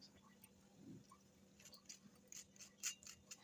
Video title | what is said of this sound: केवल कच्चे आलू से बना गरमा गरम कुरकुरा नाश्ता जो भी खाए खाता ही जाए - Crispyaalu ka nashta | आवाज से पता चल रहा है कि यह कितना क्रिस्पी बने हुए हैं